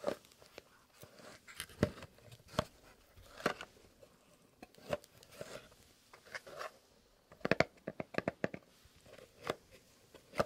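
A small, long, rectangular kraft cardboard box printed "Fox", hollow and held over a dark textured mat, is tapped with fingernails by hands in fingerless leather gloves. The result is an uneven series of short, dry, hollow clicks centred in the mid range around 650 Hz, with quick bursts near the end. Each tap dies almost instantly, with faint papery rustling between them.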